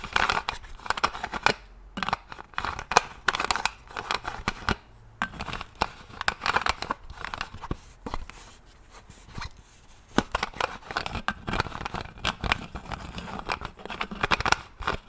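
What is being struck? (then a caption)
Plastic bottle with plastic screw cap. Fingertips twist, tap and click the plastic screw cap of a large translucent plastic vinegar bottle, partly full and held in one hand. Dense bursts of crisp, dry clicks and scratchy ticking run throughout, with a brief lull near the tenth second before the quick clicking resumes.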